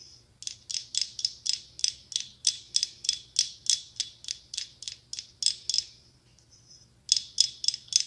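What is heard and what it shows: Long pink acrylic nails tap and scratch a small hand-held, hollow pumpkin ornament covered in red, brown and gold glass mosaic tiles. About 23 quick, bright, dry clicks come in a fast rattling run, with almost no ring after each one. A brief soft scratch fills a pause near the end before a final short burst of taps.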